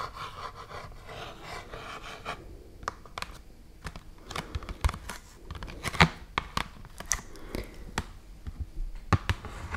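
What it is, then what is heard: Full cardboard box of rice, scratched. A full, medium cardboard box of rice is scratched with long nails. A steady, dense scratching rustle for the first two seconds gives way to scattered, sharp, dry scrapes and taps with short pauses between them. The tone is soft and close, with a muffled low body under bright, papery edges.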